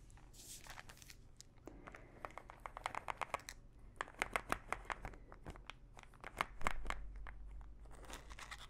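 Long nails scratch and tap the cap and body of a small plastic pill bottle full of pills. Soft scratching gives way to rapid, sharp clicking taps with a bright edge, and the pills faintly rattle inside. A low steady hum sits underneath the whole time.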